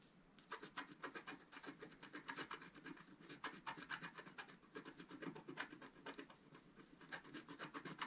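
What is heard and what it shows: A wooden stylus scratches fine lines into the coating of a flat, black-coated scratch-art card. After a brief quiet start, a quick run of short, dry, rasping strokes repeats steadily with a bright, papery hiss. The scratching stays quiet and continues to the end.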